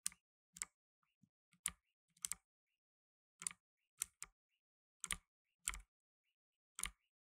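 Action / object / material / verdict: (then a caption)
tap / plastic mechanical keyboard / plastic / none. Blue nitrile-gloved fingertips type steadily on a black tenkeyless mechanical keyboard with plastic keycaps. It produces a series of sharp, bright, quiet clicks with a light low thump beneath. Each click stops almost at once, separated by brief silent gaps.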